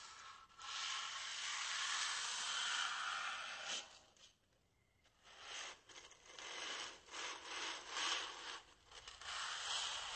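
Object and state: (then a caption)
Styrofoam block rubbed by hand. A flat hand and fingertips rub a small, white, solid styrofoam block held close. A bright, hissing friction sound runs steadily for about four seconds, then falls nearly silent. It returns as a series of shorter rubbing strokes.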